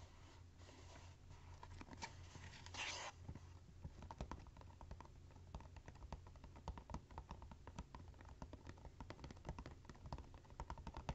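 A small, hollow, printed cardboard gift box is held and then rests on cork coasters while fingernails tap and scratch its top and sides. Quick, dry, closely spaced taps and clicks come over a steady low hum, with a brief brighter scratching burst near the three-second mark.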